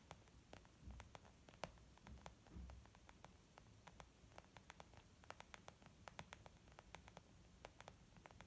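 Gentle, slow fingertip tapping on a leather makeup bag gives a soft, muffled patter of many short, dry taps with almost no ring. Some low rumbling bumps and a faint steady hiss sit underneath.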